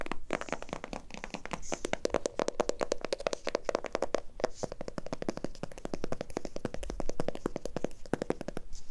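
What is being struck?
Small glass jar with metal lid.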